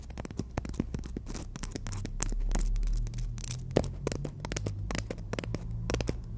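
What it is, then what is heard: Emery board nail file. Long natural nails on both hands tap and scratch across the gritty surface of a long, flat, solid black emery board nail file. Quick, irregular clicks and rasping scrapes come in dense bursts with bright edges over a steady low rumble.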